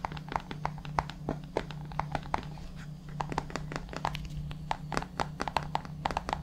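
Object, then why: Plastic supplement tub. Fingertips tap and scratch the lid and labelled side of a white plastic supplement tub held upright beside the microphone. Quick, dry, hollow clicks around 890 Hz come in an uneven, rapid stream with soft scratching between them. A steady low hum sits underneath throughout.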